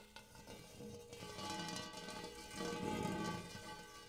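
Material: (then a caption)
Metal. Fingertips and nails tap the dimpled interior of a large, shallow, empty gold hammered metal bowl, ending with both hands. A quick run of soft taps sets off layered metallic ringing tones that hang under the clicks. The sound swells toward the end as both hands join in.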